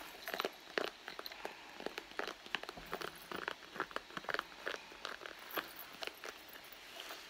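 Long blue nails scratch and tap the soft leather of a hollow red handbag near the seam. The result is a quick, irregular run of short, dry ticks and crinkly scrapes that stop almost instantly, mostly midrange with some bright edge and almost no low end.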